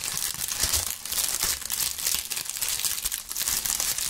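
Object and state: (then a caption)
Dried maple leaves being crushed. Handfuls of dry maple leaves are crushed and crinkled by gloved fingers close up, giving a dense, continuous bright crackle with quick crunchy bursts and almost no low end. The crinkling runs steadily through the whole clip without pause.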